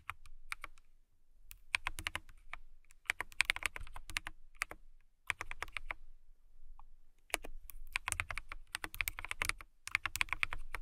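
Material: Acrylic.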